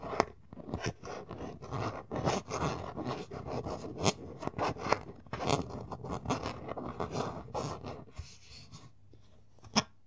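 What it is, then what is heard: Plastic bottle screw cap, twisted and rubbed. Fingertips twist and rub the blue plastic screw cap on a large, clear plastic Naturie lotion bottle that is partly full. This makes a continuous scratchy, rasping sound in uneven bursts, with a few sharper clicks. It quiets toward the end before one last crisp tick.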